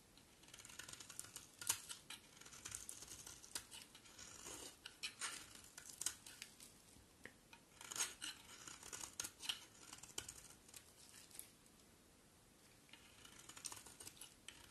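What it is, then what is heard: Bar of soap being shaved. A solid white bar of soap, held in the hand, is shaved with a utility knife blade. Quiet, bright, scratchy scraping strokes come in irregular bursts of crisp, short crackles, with a brief lull near the end before the shaving resumes.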